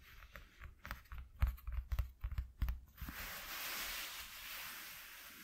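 Fingertips with short nails scratch a flat white corrugated cardboard piece from a shoe box in a quick series of short, scratchy strokes with low, soft thumps. After about three seconds this turns into a steady, airy rubbing hiss that stays bright and fades slightly toward the end.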